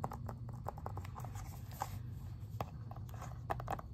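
Fingernails tap quickly and lightly on an Xbox 360 plastic game case, first along the spine and then across the back cover. The taps are short, dry clicks around 800 Hz with almost no ring, heard over a steady low hum.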